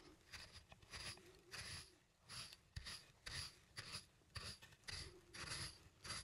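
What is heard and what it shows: A wooden pestle, gripped by plastic hands, is ground round inside a small, hollow, apparently empty turned wooden mortar, wood rubbing on wood. It makes a steady series of bright, raspy grinding strokes, each swelling and fading, with a low rumble underneath and brief dry clicks between.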